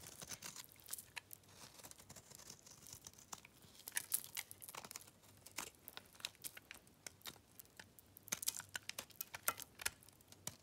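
A metal blade scrapes thin dry curls off a solid white bar of soap held in the hands, and the curls pile up on a red surface. The sound is a quiet, dense run of crisp, brittle scraping and crackling, bright and hissy with little low end. It comes in short, rapid strokes, with a few louder bursts around the 4- and 8-second marks.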